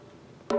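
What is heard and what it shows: A banjo drum head is tapped once before disassembly to get a reference tap tone. The quiet clip breaks into a single sharp, midrange tone near 570 Hz that rings only briefly. The tone reveals an unevenly tensioned head.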